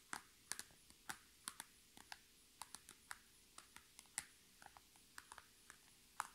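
Long red nail tips tap quickly on a flat, iridescent holographic PVC zipper pouch lying on a table. About 23 quiet, sharp, bright plastic clicks arrive at an uneven pace, each dying out almost instantly, over a faint steady hum.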